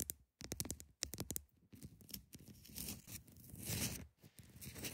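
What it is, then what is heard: Ice block. Long nails tap and scratch the sides and top of a large, solid block of ice. A quick run of sharp, dry taps gives way to sustained, bright, gritty scraping with a low rumble underneath.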